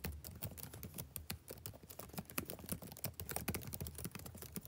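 Fingertips type rapidly on the plastic keys of a backlit laptop keyboard. Quick, irregular, quiet clicks each carry a soft low thud and a bright tick and die away almost instantly, forming a steady patter of taps.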